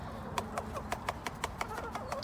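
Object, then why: Metal tin. A metal tin is tapped in a steady rhythm to call chickens back, so they associate the sound with sweetcorn. Ten sharp, bright metallic taps ring out briefly over a low background rumble.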